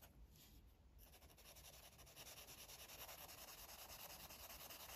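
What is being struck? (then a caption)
Felt-tip marker on a stack of paper pages. A green felt-tip marker rubs back and forth across a page of a paper coloring book, a thick stack of white pages lying flat while the other hand holds them down. Soft, bright, papery scratching strokes repeat quickly and fairly steadily, starting faint and growing a little louder after the first second.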